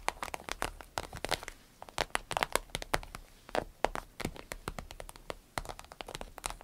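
Long nails tap and scratch an empty medium green striped vinyl zip pouch while hands squeeze it. The result is a quick, uneven patter of dry, crinkly clicks and crackles, with bright transients that stop instantly and leave no ring.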